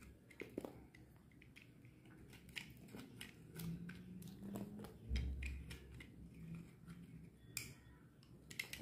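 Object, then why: Bar of soap scraped with a metal blade. A solid purple bar of dry, painted soap is held in the hand and scraped with a metal utility knife blade, with the shavings piling up beside it. Crisp, bright scraping clicks and short cuts come at an uneven pace over a quiet, low background rumble.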